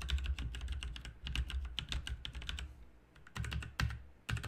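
A backlit RGB mechanical keyboard with plastic keycaps is typed on with the fingertips of both hands. Quick, bright clicks and clacks come in bursts over a deep low thump, with brief pauses in between.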